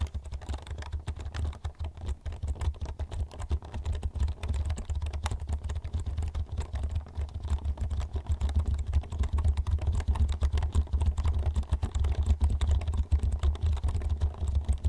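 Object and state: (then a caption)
Plastic computer keyboard being typed on. Fingertips type rapidly on the keys of a black plastic computer keyboard held vertically in front of the microphone. A dense, continuous stream of short, dry clicks rides over a steady low hum near 70 Hz, growing slightly louder in the second half.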